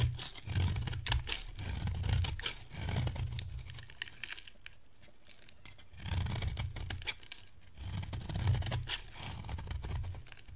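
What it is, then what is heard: Dry soap bar scraped. A pale pink, dry solid bar of soap held in the hand is scraped with a metal box-cutter blade. Two long runs of dense, rapid scraping and crumbly shaving strokes carry a heavy low rumble and a bright, gritty edge. Between them comes a quieter stretch of faint scratching.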